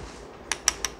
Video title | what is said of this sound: Đánh giá Micro Thronmax C2 Space: 3,5 triệu, 2 TX, chi tiết tốt, rõ ràng !!! | Đây này là nhựa này đấy